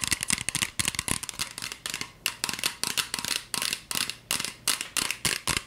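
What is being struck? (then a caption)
Plastic spray bottle. A green plastic spray bottle with a white trigger nozzle, hollow and partly filled with liquid, is tapped rapidly with long fingernails while held out. The result is a fast run of short, bright, clicky taps in quick bursts with a faint hollow plastic tone underneath and almost no ring.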